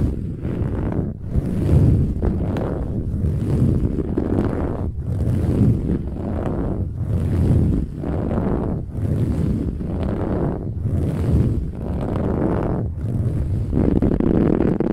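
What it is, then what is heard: Metallic woven fabric pillow. Long nails on both hands scratch hard across a large, soft, filled cushion with a textured silver-gold metallic woven fabric cover. The result is a dense, rough, rumbling scratch sound, mostly low in pitch, coming in repeated surging strokes with brief dips between them and a faint high hiss on top.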